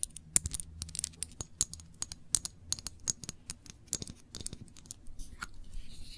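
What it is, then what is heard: Glass jam jar. Long nails tap and scratch on a small glass jar full of cranberry jam with a metal lid, moving over both the label and the bare glass. A quick run of sharp, bright clicks with very short ring gives way near the end to a soft, high scratching rasp, all over a faint low hum.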